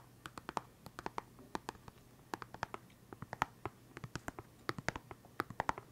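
A small, hollow, clear plastic pen case full of felt-tip pens is held in one hand and tapped and scratched with fingertips and nails. Many quick, sharp clicks and taps with brief scratchy strokes come in an uneven rhythm. Each sound is bright and dies almost instantly, over a faint low hum.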